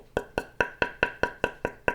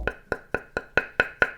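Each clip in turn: First: Nine quick, even knocks on a table tennis blade: a crisp, bright wooden tock that dies almost at once. Second: Eight even, crisp taps with a bright knock near 1.5 kHz on a carbon-layered wooden table tennis blade.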